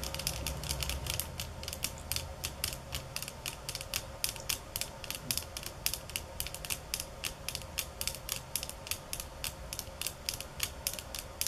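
Fingernails tap on bamboo sticks at varying speeds and intensities, producing about fifty short, crisp, bright clicks that die away almost instantly. A faint low rumble sits underneath, strongest in the first few seconds.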